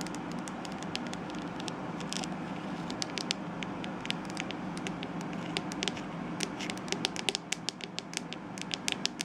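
Long acrylic nails tap and scratch the hollow, glossy, glittery purple plastic back shell of a palm-sized Tangle Teezer-style detangling hairbrush. A steady, soft scratching hiss runs throughout, broken by many short, bright, dry clicks that stop almost instantly, growing more frequent toward the end.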